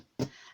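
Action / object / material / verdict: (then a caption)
tap / storage box / unknown / none. A single tap on the box used to store a reborn doll. It gives a short, dull thump centred in the low-mids that fades quickly into a faint hiss.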